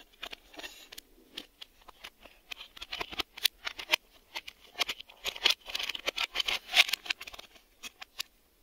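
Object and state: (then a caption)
Plastic VHS cassette. Fingertips and nails tap and scratch a hollow black hard-plastic VHS video cassette, working over its ribbed plastic, the door edge and the underside with the reel hubs. The result is a quiet run of short, dry, bright clicks and scrapes with almost no low end and a fast-dying ring, growing busier and louder in the middle of the clip.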